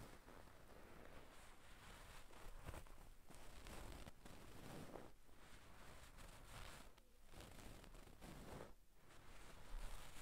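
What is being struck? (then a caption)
Stuffed satin damask cushion. Long pink nails on both hands scratch a soft, stuffed gold-brown satin damask cushion resting on a wooden table. The result is a steady, quiet rustling scratch with bursts that rise and fade, plus a low rumble underneath.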